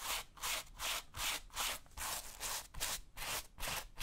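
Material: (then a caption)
Suede. A bristle brush held in the hand scrubs the tan suede or nubuck upper of a tactical boot worn on a foot. About ten steady, hissing brush strokes, each a broad bright rasp, repeat at a regular rhythm of roughly two and a half per second, with quiet gaps between.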